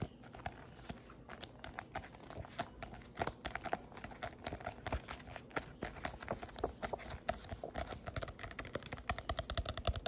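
Fingernails tap rapidly on the glossy card cover of a solid "Simple Baby-Led Weaning" paperback book. The result is a fast, uneven stream of short, dry clicks with dull low thuds underneath, each dying away almost at once.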